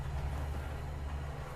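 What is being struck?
Nothing is struck.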